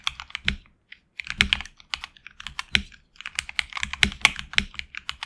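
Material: Plastic.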